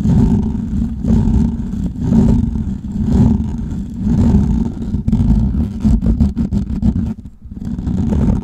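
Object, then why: Metal mesh microphone grille. Fingernails scratch the hollow metal mesh grille of a large microphone, making a dense, low, rumbling rasp centered around 200 Hz that swells in roughly once-per-second strokes. Near the end the hand pulls away, leaving a brief dip before the scratching noise returns.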